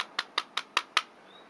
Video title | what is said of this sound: Review Army Armament R45 (Detonics 45) et R28 (Kimber Warrior) GBB (fr) | bien que l'imitation bois soit correcte, bon, ça sonne plastique quand même